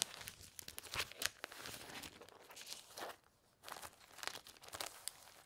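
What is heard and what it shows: A stack of thin, clear, empty punched plastic sheet protectors lying on a quilted cloth is handled, separated and crinkled with fingertips and red-painted nails. The result is a run of bright, crisp crinkles and crackling rustles, with sharp snaps and very little low end. Near the middle there is a brief quiet pause before the crinkling resumes.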